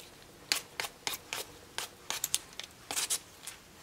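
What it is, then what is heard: Raw potato being peeled. A vegetable peeler scrapes one solid, partly peeled raw potato in repeated strokes. There are twelve short, crisp, bright rasping scrapes, with very little low end, separated by quiet gaps. Each scrape dies away almost at once.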